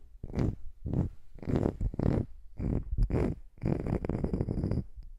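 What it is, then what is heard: Wood slice coaster. Long nails tap and scratch the face and edge of a small, solid, round wood slice coaster held close to the microphone. The sound comes in uneven bursts of dull, low knocking mixed with dry scraping, with little ring after each contact.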